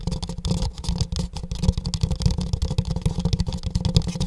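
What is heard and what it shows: An empty pink printed paper cup, held upside down over the mic, is tapped on its side with fingertips and nails. The result is a quick, steady stream of hollow, boomy thumps with a deep low-end pitch and very short decay, plus faint bright clicks from the nails.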